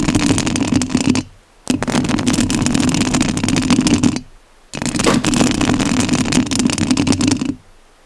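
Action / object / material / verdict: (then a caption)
scrape / metal mesh microphone grille / metal mesh / none. Long nails scratch the metal mesh grille of a rhinestone-covered studio microphone. Three sustained bursts of dense, rasping scratching, bright across the top with a steady low-mid hum of friction around 230 Hz, are separated by two brief near-silent pauses.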